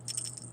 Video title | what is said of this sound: Unit9.9-Equilibrium-2 titration | as I shake this beaker around, you can see that they look and they sound very dry